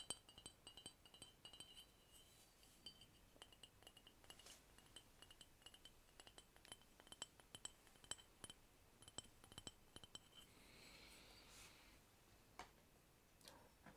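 Quick, bright tapping on a thick ceramic cup with a beach hut design, not bone china, gives a steady run of short, high clinks that ring clearly and fade almost at once. A soft hiss rises briefly near the end before the tapping resumes.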